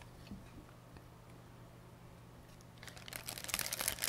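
A thin, empty white plastic pharmacy bag with blue print is held in both hands and crumpled and rubbed between fingertips with long painted nails. After nearly three seconds of quiet low hum with a few faint ticks, bright, crisp crinkling crackles build up and grow louder toward the end.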